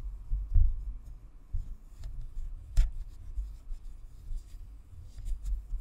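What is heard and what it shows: Long acrylic nails scratch and tap the hollow white plastic shell of a spherical Blue Snowball USB microphone with a metal grille and chrome badge, mounted on a stand. Close, muffled low rubbing and thudding fill the clip, broken by a few irregular taps that land as dull thumps and one sharper, brighter click, all dying away almost instantly.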